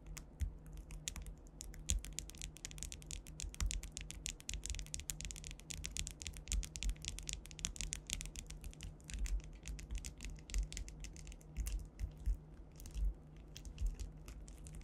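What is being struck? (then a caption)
Flat panel covered in faceted plastic rhinestones. Long white nails on both hands tap and scratch fast across a solid flat panel covered in faceted clear rhinestones, likely acrylic. The result is a dense stream of sharp, bright clicks and scrapes over a steady low hum.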